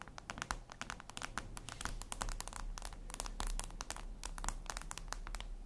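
Long acrylic nails tap and scratch a flat, solid, reflective glass mirror tabletop surface. The result is a rapid, irregular stream of sharp, bright clicks with short scraping strokes, each tap dying away almost instantly over a steady low hum.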